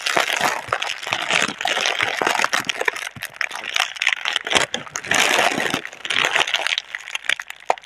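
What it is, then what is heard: Plastic air-cushion packaging being crinkled. A single clear plastic air-cushion packaging tube with green print, hollow and partly air-filled, is held in both hands while fingers with long red-painted nails squeeze and crinkle the film. The result is dense, bright crinkling and sharp crackles with no low end, swelling and easing in short bursts.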